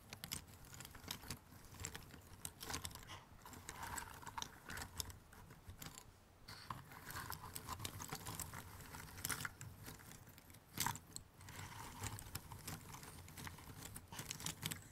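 Fingertips with short nails rummage and scratch through a pile of thin cardboard jigsaw puzzle pieces in an open cardboard box. The result is a steady, dense stream of quiet, dry clicks and scratchy rustles, with brief louder rattles now and then, each tick dying away almost at once.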